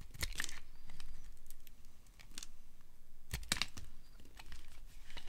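A small knife scrapes thin shavings off the edge of a solid amber dry soap bar, held by a hand with long dark nails, over a pile of shavings. Crisp, dry scraping and crackling bursts come in quick strokes, with bright flaky edges over a low, soft rumble. The shavings curl away with short, sharp crunches that stop almost instantly.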